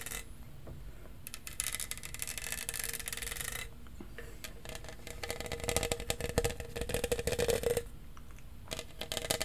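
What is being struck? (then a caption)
Studded plastic tumbler. A tall, hollow lilac plastic tumbler covered in studs is held in one hand while fingernails scratch and rub over its studs. Dense, crackly bursts of bright scraping come in waves, with brief quieter pauses near 4 and 8 seconds. A faint hollow tone rings beneath the louder passages.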